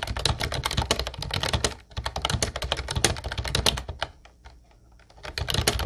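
A Ubotie mint-blue plastic retro typewriter-style keyboard with round white keycaps is typed on with the fingertips of both hands. Rapid, bright key clicks with a low thump fall in dense bursts, with a short pause near the two-second mark and a longer near-silent gap before the typing resumes at the end.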